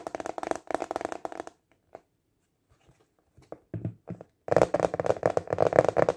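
Fingertips tap quickly on the flat surface of a translucent, clear plastic container lid, which is turned from landscape to portrait partway through. Dense bursts of light, hollow plastic tapping give way to a near-silent stretch with only scattered soft taps, then the rapid tapping returns louder and fuller to the end.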